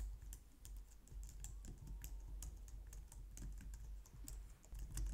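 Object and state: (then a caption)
Plastic computer keyboard being typed on. Long painted nails and fingertips type on a low-profile white/light-grey plastic wireless keyboard resting on a glitter mat on a wooden desk. The result is a quiet, steady stream of soft, quick plastic taps with bright, high clicks over a faint low rumble.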